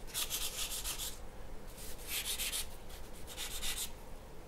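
A graphite pencil is stroked across a large, flat sheet of white paper resting on a wooden table. It makes three bursts of quick, bright scratching and rubbing, with a low, steady background rumble underneath.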